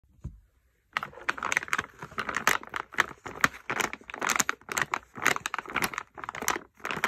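A medium printed plastic stand-up pouch full of wrapped bath bombs is held in both hands and crinkled and squeezed with fingertips and short painted nails. After a brief low thump and a second of silence, dense, bright crinkling bursts follow one another almost continuously to the end.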